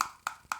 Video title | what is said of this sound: DJI Mini 3 Pro - Unboxing Review (USA) | the extended battery is utilizing every space every bit of space inside this battery it's not so hollow sounding when you tap on it